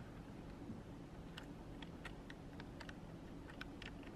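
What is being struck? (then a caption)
Plastic computer keyboard. A long nail and fingertip press keys and tap the spacebar and edge of a black plastic full-size computer keyboard resting on a desk. Soft, scattered clicks and ticks with bright edges sit over a steady low hum, all heard at a quiet level.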